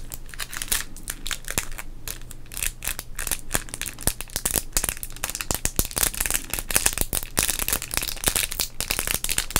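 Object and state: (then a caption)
Foil plastic trading card pack, crinkled. A small sealed modern Topps baseball card pack, full of cards, has its shiny foil-plastic wrapper crinkled and squeezed between the fingertips of both hands. Dense, bright crackling and crinkling runs without a break, with many sharp snaps over a low, steady hum.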